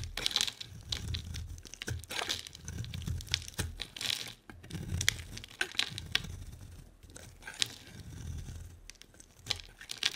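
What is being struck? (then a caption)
Bar of soap. A solid bar of soap with a pink and white printed coating and a white core is held in the hand and shaved with a utility-knife blade. Quick, repeated strokes give off crisp, bright scraping and crackling as thin layers peel away, over a soft low rumble. The sound comes in short bursts with brief pauses between passes.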